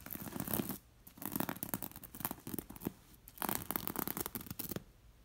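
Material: Linen, glass beads.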